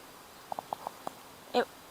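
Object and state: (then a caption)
Dried bean pod with loose seeds inside. A purple bean pod, possibly dragon tongue, that has completely dried out on the plant is shaken, and the loose beans inside rattle. Five short, light ticks are followed by a louder, fuller rattle, six hits in all. The sound confirms the pod holds loose seeds.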